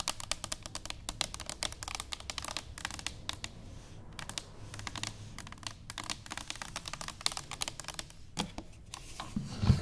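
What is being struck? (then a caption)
Stainless steel cylinder canister. Long fingernails on both hands tap rapidly on an upright, hollow stainless steel cylinder canister. The result is a dense stream of sharp, bright clicks over a faint low hum. The taps grow slightly louder and thumpier near the end.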